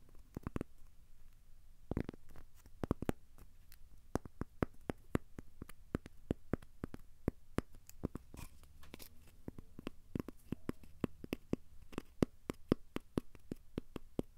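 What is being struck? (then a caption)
Thin square cork coaster. A thin, solid, square cork coaster is held upright and scratched and tapped with the fingertips. The result is quiet, dry, very short clicky taps scattered throughout over a soft, low, rumbly scratching texture.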